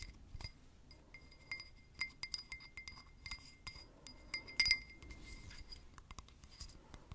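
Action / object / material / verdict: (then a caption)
tap / drinking glass / glass / none. A drinking glass is tapped with paper clips worn as nails, giving a run of quick, light clinks at irregular intervals with a bright ring near 2 kHz. The taps stay quiet and close-up, for ASMR.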